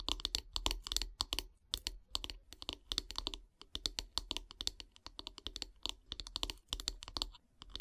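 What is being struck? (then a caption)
Wooden handle of a bristle brush tapped with fingernails. Long grey nails tap rapidly on the solid wooden handle of a bristle brush, making quick bursts of sharp, bright clicks. Each tap is dry and short, and the taps come in uneven rapid runs with brief gaps between them.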